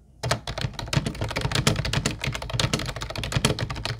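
Fingertips of both hands type rapidly on a mint-blue plastic retro Ubotie keyboard with round white keycaps. After a brief moment of quiet, a steady stream of crisp, clacky taps begins, each with a bright click over a hollow low plastic thunk. Each tap dies away almost instantly.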